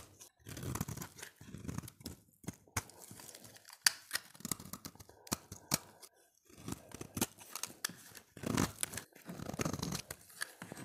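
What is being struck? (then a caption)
Bar of soap scraped with a blade. A utility knife blade scrapes the surface of a solid, oval, light blue dry soap bar held in the hand. Repeated short, crunchy scraping strokes with a bright, papery tearing texture are broken by sharp clicks and brief pauses, all at a quiet, close level.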